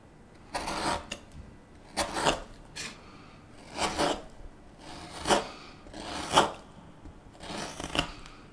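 A gouge scoops chips from the bowl of a solid light wood spoon in a series of short, rasping cuts. Each stroke is a dry, bright scrape with a brief crackle as the chip lifts, separated by quiet pauses.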